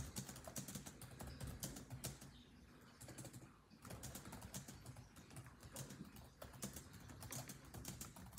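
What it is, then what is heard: Plastic laptop keyboard being typed on. Fingertips of both hands type rapidly on a built-in laptop keyboard with dark plastic chiclet keys set in a grey laptop body. A fast stream of short, dry key taps carries a soft low thud under bright clicks. The typing thins out briefly near the middle before the quick tapping resumes.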